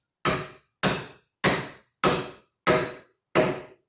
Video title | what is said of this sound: How to Put Together a Trestle Table with Tusk Tenons | Hear the difference in the sound there? That means that that's as tight as it's going to go